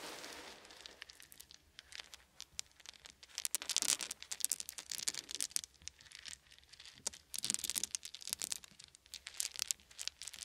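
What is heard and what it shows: Small, solid, round wooden beads are scooped up in bare hands and dribbled onto a blanket, giving a dense, rain-like patter. The quick, bright clicks overlap in bursts that swell and fade, with almost no low end and no lingering ring.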